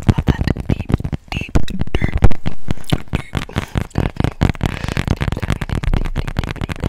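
Long nails tap and scratch quickly across the back of a tablet in a marble-print plastic case held upright close to the microphone. The result is a rapid, uneven run of short, dull, bassy knocks that die away almost instantly, mixed with scratchy noise and a couple of smoother scraping strokes near the middle.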